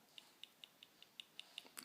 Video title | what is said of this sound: Cold Steel Mini Recon 1: A Real Winner of an EDC! | that's the clip banging on the G10 handle there